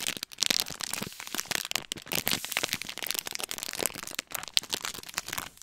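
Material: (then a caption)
Plastic. A small clear-plastic snack wrapper with a printed image is held close and crinkled and crumpled between fingers. It makes a dense run of sharp, bright crackles with almost no low end. Each snap dies away instantly.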